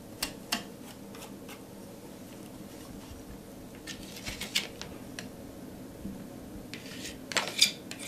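A metal palette knife scrapes and spreads thick teal and pink acrylic paint across a flat canvas board. Short, bright scratching and rubbing strokes come at irregular intervals over a low, steady background hiss.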